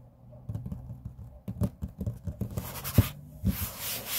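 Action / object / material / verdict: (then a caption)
tap / laminate tabletop / laminate / none. Fingertips and short nails of both hands tap rapidly on a large, flat, solid grey laminate tabletop. About ten dull, low, short-lived knocks are heard, with a brighter scratchy hiss rising between them toward the end.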